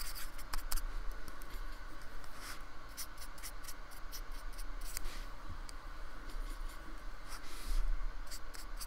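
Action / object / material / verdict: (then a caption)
scrape / painted polystyrene foam block / polystyrene foam / none. A metal palette knife or brush tip scrapes and rubs across a small, flat, palm-sized square of white styrofoam with rough torn edges and thick paint, held on a wooden table. Short, bright, scratchy strokes and soft rubbing repeat over a steady low hum. Two louder scrapes stand out near the start and the end.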